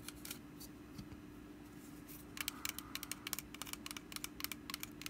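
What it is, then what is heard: Woven wicker basket being scratched. Long nails scratch the ribbed woven sides of a small, hollow, orange woven wicker pumpkin basket held in one hand. Faint scratching at first gives way to a rapid run of crisp, bright, dry clicks and scrapes with almost no ring, over a steady low hum.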